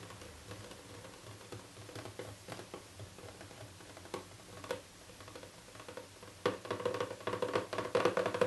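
Fingertips and painted nails tap rapidly on the lid of a small, hollow printed cardboard box with a fully revealed pink print. The result is a soft, dry, irregular patter of short taps with a hollow mid-range tone. The tapping grows louder and busier in the last two seconds.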